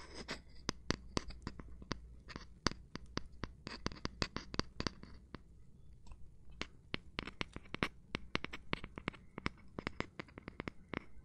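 Gloved hands tap and rub or scratch a cork surface. Many quick, dry taps with no ring, each a sharp broadband click reaching into bright highs, sit over a soft scratchy rustle and a low steady hum. The taps come in irregular bursts, with a brief quieter patch of mostly scratching near the middle.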